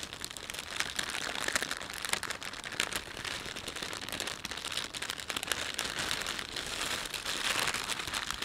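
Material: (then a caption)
Plastic film. A thin, empty plastic shopping bag with a panda print is pinched, stretched and rubbed between fingertips. The result is a steady, dense crinkling that stays bright and papery with little low end, with small sharp crackles peaking throughout.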